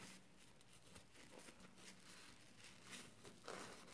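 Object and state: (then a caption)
Wet, soapy foam sponge being squeezed. A wet, soapy yellow and green foam kitchen sponge with a scouring pad is folded and squeezed tightly by fingers. The sound is a quiet, continuous crackling and crinkling of foam and suds, with bright, hissy bursts toward the end.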